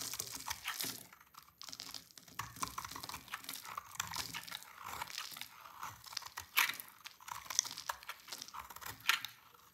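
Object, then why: Bar of soap shaved with a knife. A dry, solid pink oval bar of soap, held in hand, is shaved with a yellow-handled utility knife into crunchy flakes. The result is a dense, irregular run of bright, crisp crunching and scraping with almost no low end, with a few sharper, louder cuts standing out toward the end.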